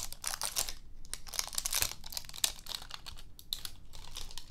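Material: Plastic.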